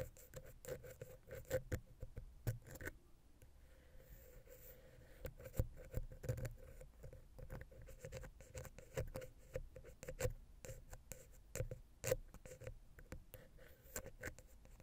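A wooden ear pick, held vertically, taps and scratches rapidly against the small, hollow, silver metal XY microphone capsule housing on a Zoom H6. The result is a quiet stream of dull, bass-heavy knocks and soft scraping, with a faint steady tone near 500 Hz beneath. Each tap dies away almost instantly.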